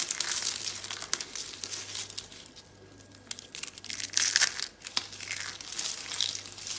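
Orange dry soap rosettes, broken into flakes, are crushed and crumbled in a hand with long dark red nails. The result is dense, bright, crisp crunching and crinkling with sharp crackles, over a faint steady low hum. The sound dips into a quieter lull midway, then swells to a louder burst of crunching before continuing.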